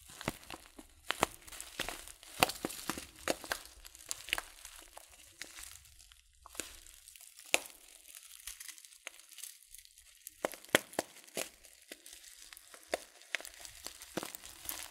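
A filled, glossy coated-paper tea bag (a loose-leaf packet) is rotated and squeezed by fingers. It makes dense, bright crinkling with sharp crackles and crunches that come in uneven bursts over quiet pauses.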